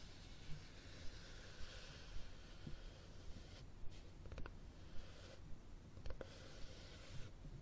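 Fingernails scratch and tap the cover and spine of a red cloth-covered hardcover book held flat. A steady, soft, breathy scratching hiss runs throughout, broken by a few short, sharp taps that die away almost instantly, with most of the energy in a low rumble underneath.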